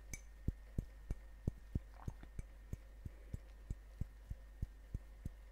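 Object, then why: Ceramic coffee mug. A large, hollow, apparently empty ceramic coffee mug printed with a Grumpy dwarf is held up close and tapped on its outer wall with fingertips and nails. About 16 short, dull, low thuds land at a steady pace of roughly one per second, each dying away almost instantly. A constant low hum sits underneath.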